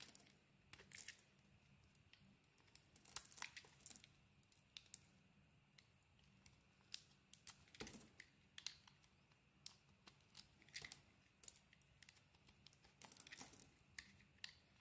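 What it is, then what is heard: Oval soap bar being carved. A metal blade carves chunks off a solid oval soap bar with a dark grey-blue coating and a cream interior. The result is quiet, bright, crisp scraping and crackling snaps in irregular bursts, over a faint steady low hum.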